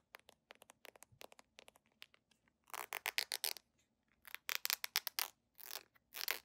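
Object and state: Plastic squeeze tube.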